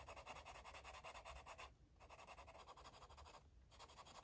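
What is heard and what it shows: A yellow marker tip scribbles back and forth across a paper coloring book page, making quick, steady rubbing strokes with a soft, papery scratch. The bright, dry strokes come in fast runs, broken by two short pauses before the scribbling resumes.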